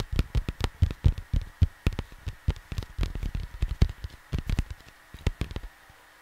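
Fingertips rub, scratch and tap a cardboard vinyl album jacket, making a quick, uneven run of soft, dull thuds mixed with papery rustling. The sound is low and muffled with little brightness, each touch dying away almost at once, and it trails off into a faint steady hum near the end.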